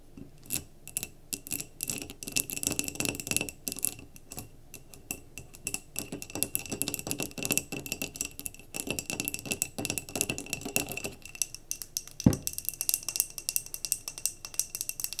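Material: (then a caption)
Glass. Long nails tap quickly on a clear glass mason jar candle with a paper label, filled with cream wax, including near its threaded rim. The result is a dense run of short, bright clicks and light rattling with almost no ring, plus one louder, deeper knock near the twelve-second mark.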